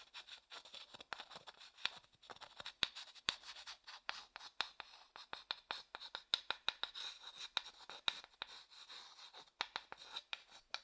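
The inside of a medium, hollow, empty light wooden bowl, held upright, is scraped and stirred with a wooden stick. It makes a quiet, bright scraping texture with a steady high tonal edge, broken by many short, sharp ticks that die away almost at once. There is no low-end body to the sound.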